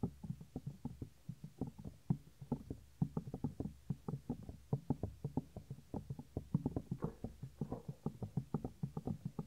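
Fingertips rub and fold the upper earflap of a white silicone ear on a 3Dio binaural microphone. The result is a quiet, steady stream of soft, muffled thumps and rustles, mostly deep and low, with each short knock dying away almost instantly.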